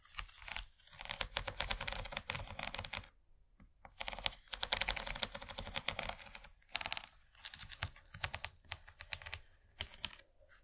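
Long fingernails tap quickly along the ridges near the edge of an empty, rigid, yellow plastic corn-shaped serving tray. The result is rapid bursts of bright, dry clicking that stop dead after each tap, broken by brief pauses.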